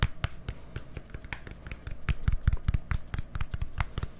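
A small, hollow, white plastic deodorant stick with a green cap, held close to the microphone, is tapped rapidly with fingertips and nails. The sound is a quick, irregular string of short, dry, low thuds, with brief bright clicks where the nails strike.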